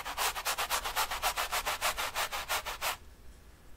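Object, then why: Bristle brush on stretched cotton canvas. A flat bristle brush is scrubbed in short, quick rubbing strokes near the top edge of a large painted, stretched cotton painting canvas lying on a table. Each stroke makes a dry, bright, scratchy swish, repeating at a steady, rapid pace for about three seconds before stopping into near silence.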